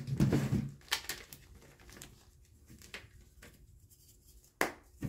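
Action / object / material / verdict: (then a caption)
scrape / magnesium carbonate gym chalk block / magnesium carbonate / none. Small white blocks of gym chalk (magnesium carbonate) are crumbled, pressed, crushed and rubbed between fingertips with painted nails over a white bowl of loose chalk powder. A dull, crumbly crunch opens the clip, followed by soft, scattered crackles and light taps as pieces break apart and powder falls. A sharper crunch comes near the end.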